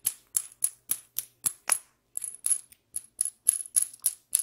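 A small solid steel bolt with a hex nut threaded on it is held between the fingers close to the microphone while long pink nails turn the nut and tap the metal. About sixteen quiet, sharp metallic clicks and taps come at an uneven pace, each with a brief bright, high ping that dies away almost at once.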